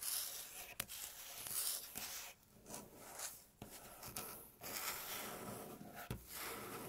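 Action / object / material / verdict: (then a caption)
scrape / wooden tabletop / wood / none. Long natural fingernail tips scratch and tap on a light-colored, flat, solid wooden tabletop. Soft, bright, continuous scratching and rubbing is broken by a few sharp, quick taps. The sound stays quiet throughout.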